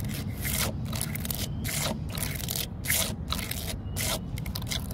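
Long nails and fingertips scratch and rub the rough vertical grain of a solid, weathered, cracked wooden post outdoors in a public park. Repeated bright, raspy scraping strokes come in bursts over a steady low rumble.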